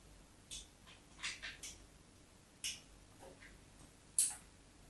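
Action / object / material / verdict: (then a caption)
scrape / bar of soap scored with a metal knife tip / soap / none. The metal tip of a craft knife scores shallow lines into a solid white rectangular bar of soap held on a patterned surface. Several short, quiet, bright scratches and scrapes come in separate bursts with brief pauses between them.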